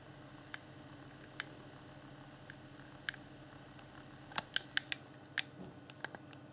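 A fingertip taps and clicks the buttons of a hand-sized, hollow, transparent plastic game controller lit with a blue LED. About ten sharp, dry clicks ring out over a steady low hum, scattered at first and then bunching into a quicker run near the end. Each click is bright and plasticky and dies away almost instantly.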